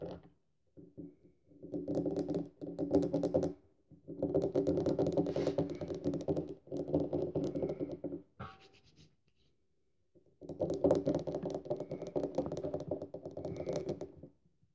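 Long nails on both hands scratch across the top of a solid, dry bar of soap lying on a table. The result is several bursts of dense, dry, rapid scratching with short pauses between them, mostly in the low-mid range. The longest stretch of scratching comes near the end.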